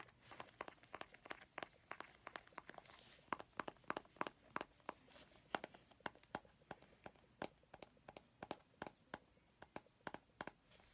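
A small, round, hollow plastic mint tin with a purple label is held in both hands and tapped and scratched with painted fingernails. Quick, sharp clicks with a bright, hollow plastic tone and almost no ring come in an uneven, rapid stream. Brief scratchy rustles sit between the clicks.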